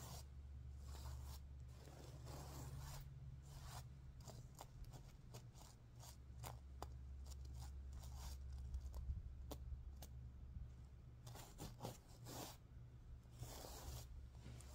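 A hand and nails brush and scratch across the sequins of a stuffed sequin pillow, making quick, irregular bursts of bright, crisp scratching and rustling. The strokes come in uneven clusters over a steady low hum, each one stopping almost immediately.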